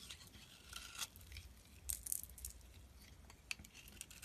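A utility knife blade scrapes thin shavings off a hand-sized solid lilac soap bar held in the palm. Quiet, bright, crisp scraping strokes come in short bursts, sharpest near the middle and with one quick click late on, over a faint low rumble.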